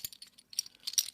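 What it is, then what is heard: Metal bottle caps rattling. A handful of metal bottle caps rattles and jangles as they fall through fingers, are run across a palm and are dropped into a lidded box. Bright, high-pitched metallic clicks come in quick, irregular clusters, each dying away almost at once.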